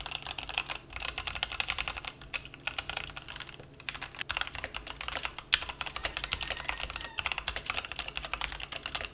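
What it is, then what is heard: Plastic mechanical keyboard being typed on. A plastic mechanical keyboard resting on a felt mat is typed on with fingertip key taps. The result is a fast, steady run of short, crisp clicks and clacks with a bright tone and very little low end, each keystroke dying away almost instantly, with a few louder taps standing out.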